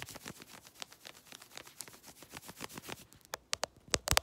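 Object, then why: Synthetic stretch fabric leggings. Long red nails scratch fast across worn grey synthetic stretch leggings around the waist and hip. A dense run of quiet, bright, papery scratching strokes builds through the clip. The last second ends in a few sharper, louder rasps.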